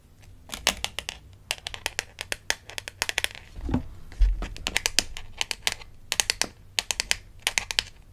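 A small, flat plastic toy dentist ID badge from a Melissa & Doug Super Smile Dentist Kit, a name badge card on a lanyard, is held in one hand and tapped and scratched with long acrylic nails. Quick bursts of sharp, bright plastic clicks come in clusters, with a short scratchy rustle and a couple of low thumps near the middle. The clicks are dry, with almost no ring.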